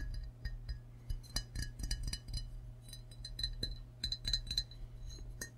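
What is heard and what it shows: Fingertips and short nails tap quickly on the belly and sides of an empty, hollow, glazed ceramic frog mug held in both hands. The result is a rapid series of bright, short glassy clinks that die away almost at once, over a steady low hum.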